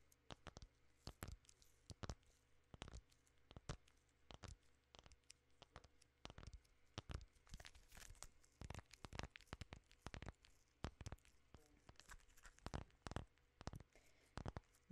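A full king-size KitKat in a plastic film wrapper is held in both hands and crinkled and scratched with long nails. Quiet, irregular bursts of sharp, bright crackling and crinkling come thick and fast over about fifteen seconds, each snap dying away almost instantly, over a faint steady low hum.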